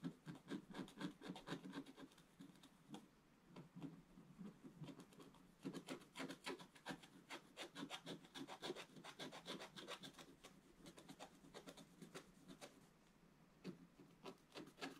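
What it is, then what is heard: Scratch art card being scratched. A wooden stylus scratches densely in one spot on a flat, black-coated scratch art card to reveal a detail. Quick, irregular, raspy scraping strokes come in bursts, with a low papery body and a bright hiss. The strokes ease briefly near the end before picking up again.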